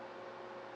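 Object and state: Nothing is struck.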